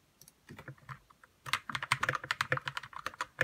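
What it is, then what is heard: Plastic mechanical keyboard being typed on. Fingertips type on a white RK61 60% mechanical keyboard with plastic keycaps, lubed red switches and a hollow plastic case. A few sparse keystrokes are followed by a faster, denser run, about 19 short, sharp clacks in all. Each has a bright click over a soft low thud and dies away almost instantly.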